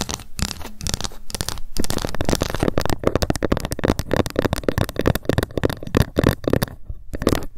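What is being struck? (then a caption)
Ruler. A ruler is tapped rapidly with long fingernails and now and then scratched by them. The result is a dense, fast stream of short, dry clicking taps with almost no ring, weighted toward the low-mid range, with occasional brief scratchy passages.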